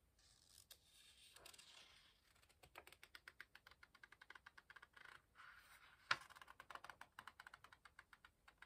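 Fingertips grip and turn the page edges of an open paperback book with illustrated paper pages, producing a quiet papery rustle. A long run of quick, light, crisp flicks and ticks follows, with one sharper snap of paper midway through.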